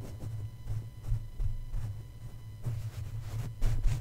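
Two plush fabric feet tap rapidly on top of the black domed metal mesh grille of a red microphone. The taps come through as soft, muffled low thumps over a steady low hum, with no bright ring.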